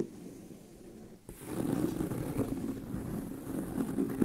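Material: Leather.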